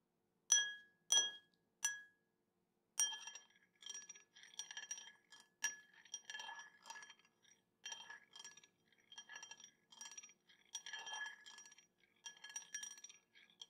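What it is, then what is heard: Glass tapped with a spoon. A metal spoon taps a drinking glass, giving three separate bright clinks at the start, then a faster run of lighter, clustered taps for the rest of the clip. Each clink rings briefly with a clear tone near 1.7 kHz and 3.3 kHz plus high overtones, and fades quickly.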